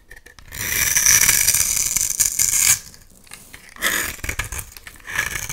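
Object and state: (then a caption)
Bar of soap being shaved with a blade. A utility knife blade is drawn across a solid oval bar of blue soap held in one hand, shaving and carving it into flakes that drop onto a pile of soap shavings. A long, bright, raspy scrape is followed by quieter, shorter scraping strokes.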